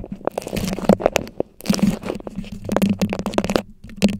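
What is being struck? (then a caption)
Beeswax-coated cloth wrap. Long yellow nails scratch and crinkle a stiff floral beeswax-coated cloth food wrap draped over a microphone head. The result is a close series of dry, crunchy crinkles and sharp crackles, with a steady low hum beneath and brief quiet gaps between bursts.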